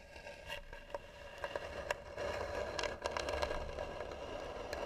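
Long nails slowly scratch the flat lid of a hollow, tan, carved wooden box, making a dry, crackling scrape. Short, uneven bright strokes rise over a steady mid-pitched hum and a low rumble.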